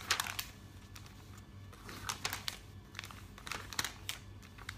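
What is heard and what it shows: Fingers with long nails riffle and flip the pages of a thick open paper catalog. Quick, crisp rustles and bright crinkling flicks come in short bursts over a quiet, steady low hum, each page snap dying away almost at once.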